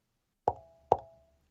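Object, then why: Metal audio streamer enclosure. Two knocks on a metal audio streamer enclosure, heard while comparing a Hall Audio streamer with a B&O BeoSound Core. Each knock is a sharp tap with a brief, faint ringing tone around 800 Hz, and it sounds metallic, confirming that the enclosure is metal.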